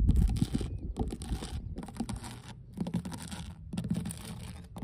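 Long blue nail tips scratch and tap across large, solid, mossy, weathered wooden dock boards. Bursts of dry, bright scratching alternate with brief pauses over a steady bed of dull, low knocks and rumble.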